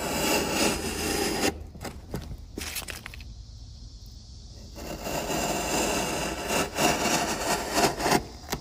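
A steel chisel, pushed by hand, pares and scrapes along the top edge of a solid, pale, hand-sized wooden block resting on a workbench among wood shavings. A dense, crackly scraping starts the clip, fades into a quieter stretch with sparse faint clicks, then returns with bright rasping and sharp crackles near the end.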